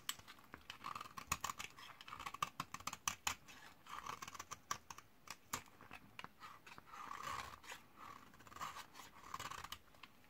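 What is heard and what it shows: A metal blade scrapes the end of a solid white bar of 72% laundry soap from 2012, dried for 8 years and held in the hand, shaving off powder beside a small pile of shavings. Quick, dry, crackly scrapes and sharp crisp ticks repeat in uneven bursts, with a bright, gritty edge and a steady mid tone around 1.2 kHz.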